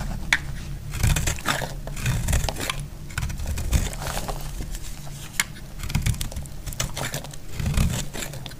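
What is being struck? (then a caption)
Soap bar cut with a knife blade. A snap-off utility knife blade carves a solid, dry red soap bar held in the fingers, with chunks cracking off. Dry, rasping cutting scrapes and sharp cracks come in a steady run of short bursts, bright on top over a heavy low thud.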